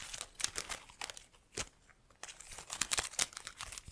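Long nails rub and flick the leaves of an artificial plastic plant in a black pot, producing quiet, bright crinkling and rustling with sharp little ticks. The flicks come in bursts, with a brief lull near the middle before the crinkling picks up again.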